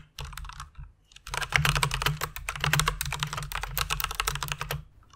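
Both hands with long red nails type with their fingertips on the keycaps of a full-size white plastic mechanical keyboard with RGB backlight, resting on a pink fluffy pad. A short burst of typing is followed by a brief pause, then a steady run of fast, overlapping clacks. Each keystroke gives a sharp, bright click over a soft low thump and dies away almost instantly.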